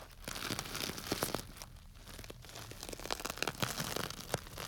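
A small clear plastic bag tied with string and full of small dry grains is held by its tied top and squeezed and rubbed with fingertips. Dense crinkling and crunchy rustling sound as the grains shift, with bright, sharp crackles rising over a steady bed of softer rubbing.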